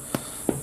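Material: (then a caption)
Bread. A loaf of four-ingredient bread, baked in a cast iron pot over charcoal and just popped out of the pot, is thumped twice. Each thump gives a short, dull, hollow knock with a low midrange body that dies away almost at once. The hollow sound means the loaf is probably done and good, and inside it is a hearty loaf with a slightly dark but crispy bottom.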